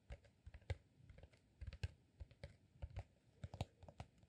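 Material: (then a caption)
Beeswax. A green, honeycomb-textured beeswax sheet rolled into a solid cylinder about 25 cm long is held in one hand and tapped and scratched with fingertips and short nails. About eighteen quiet, irregular taps land as soft, dull low thuds with faint bright clicks, each dying away almost instantly.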